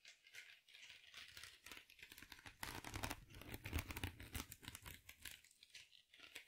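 A small, soft, rectangular foam sponge wrapped in sparkly silver mesh is held in both hands close to the mic, squeezed and scratched with long nails. It makes dense, irregular crinkling and scratchy crackles with a bright hiss and low, muffled handling thumps. The sound swells louder in the middle of the clip before easing back to quieter crinkles.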